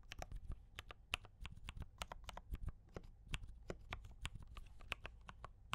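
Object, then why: Mechanical keyboard with plastic keycaps. A compact D84 mechanical keyboard with brown switches and cream and red plastic keycaps is typed on continuously with the fingertips of both hands. A rapid, steady stream of short, bright clicky taps sits over a low thock, each keystroke dying away almost instantly.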